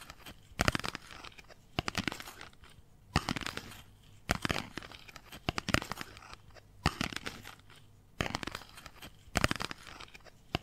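A hand-sized, hollow, ladder-like structure of folded white paper or cardstock strips is squeezed with fingertips and long nails, compressing and crinkling the strips. About nine separate bursts of dry, crunchy crackling come at a loose, uneven pace, each made of many quick snaps. Between the bursts, a quiet low hum remains.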